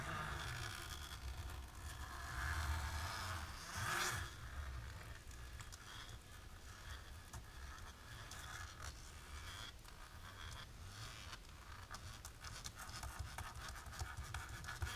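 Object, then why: Thin embossed plastic film. Long natural polished nails, on hands in black lace fingerless gloves, scratch and tap a thin dark embossed plastic film laid flat on a table. The result is a steady, soft, scratchy rustle over a low rumble, with a brighter, louder scrape swelling around the four-second mark before settling back into quieter, textured scratching.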